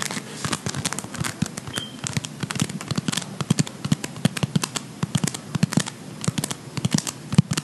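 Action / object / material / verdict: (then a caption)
scrape / play foam with polystyrene microbeads / polystyrene beads / none. A ball of blue beaded play foam (polystyrene microbead floam) is rolled and squeezed between the fingers of both hands. A steady run of sharp, dry crackles and pops from the beads fills the clip, each snap short and bright over a low, soft crinkling bed.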